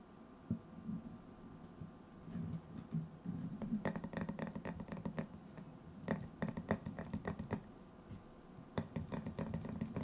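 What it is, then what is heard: Metal tin canister. Fingertips tap and scratch the white lid of a hollow, hand-sized cylindrical metal tin held close to the microphone. Quick, dry taps come in irregular clusters, each with a short, low, hollow tone that dies away almost at once. Soft scratchy rustling fills the gaps between them.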